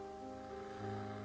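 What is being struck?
Nothing is struck.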